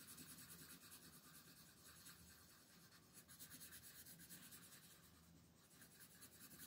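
A red colored pencil scratches and rubs short coloring strokes over the feathers on a flat paper coloring book page lying on a table, while the other long-nailed hand holds the page. The result is a quiet, steady, dry scratching rasp with a bright papery hiss and a faint low rumble beneath.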